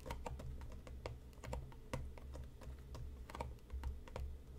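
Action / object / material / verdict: tap / cardboard tea box / cardboard / none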